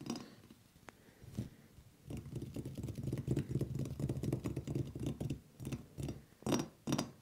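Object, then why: Frosted glass ceiling light bowl. Fingertips and nails on both raised hands tap a hollow, frosted glass bowl shade on a ceiling-mounted light fixture, picked up by wrist microphones. After a quiet start, a rapid, uneven patter of short, dull taps with a low hollow body sets in and fades almost instantly. A few sharper, brighter taps stand out near the end.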